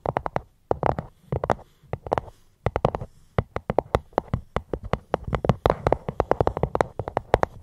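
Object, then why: Fruit box. ASMR tapping on a fruit box held close to the microphone. Quick, soft, dry taps come in irregular bursts and clusters with a hollow low-mid tone and almost no ring, pausing briefly between flurries.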